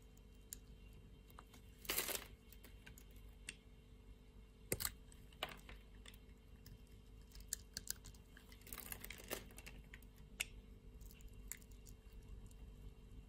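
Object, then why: Translucent bar soap cut with a metal blade. A metal blade shaves small cubes off a solid, translucent pink bar of soap that has been scored in a grid. Quiet, crisp clicks and crumbly scraping bursts stand out near two and nine seconds, each brief and bright with very little ring, over a low background hum.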